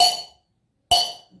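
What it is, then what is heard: Sonorous metal pieces. Two metal pieces are struck together twice, each strike giving a bright, loud metallic clang with a high ringing tone that fades within about a third of a second. The loud ringing shows that metals are sonorous, unlike two wooden sticks that make little sound, which is why temple bells are made of metal.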